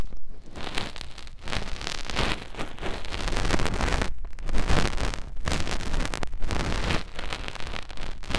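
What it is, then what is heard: Silicone ear of binaural microphone being rubbed. Fingertips rub and wiggle inside the opening of a soft white silicone ear on a round binaural microphone, making close, continuous contact friction on the silicone. The sound is a dense, muffled rustling and crackling with heavy low rumble, broken by a few brief quieter gaps.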